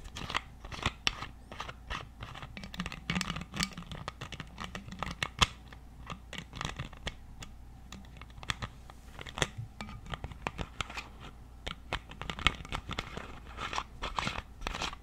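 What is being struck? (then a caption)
Plastic water bottle cap. Fingertips and nails scratch and tap the white cap of a clear plastic water bottle with a paper or plastic label, partly filled with water. Dense, rapid, dry clicks and crackly scratching with bright edges carry over a faint steady low hum. The taps are sharp and short with almost no ring.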